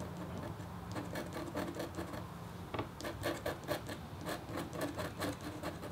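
A red-handled, metal-tipped stylus scratches across a flat, black-coated copper foil scratch art board. It makes a series of short, dry scraping strokes with bright, rasping edges over a steady low hum, growing busier and more rhythmic in the second half.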